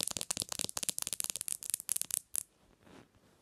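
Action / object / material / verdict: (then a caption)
tap / smartphone with glass screen / glass / none. Long nails tap fast on the glass screen of a black smartphone lying screen-up on a pillow. The result is a rapid stream of sharp, bright clicks with almost no low end. After about two and a half seconds the tapping stops, leaving only a faint, soft rustle.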